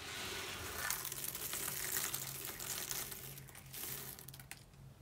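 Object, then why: Pile of soap shavings. Two hands rake, rub and sift through a large loose pile of small brown dry soap shavings on a table, letting the flakes fall. The result is a continuous bright, crisp crunching and crinkling rustle with dense, irregular crackles over a faint low hum, easing off toward the end.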